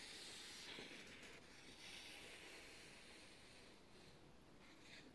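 Thin white printed office paper sheets are held in both hands while the fingertips start slow tears at the top edge. A soft, continuous bright hiss of ripping fibers holds steady for the whole clip, with faint crackle underneath and a slight fade near the end.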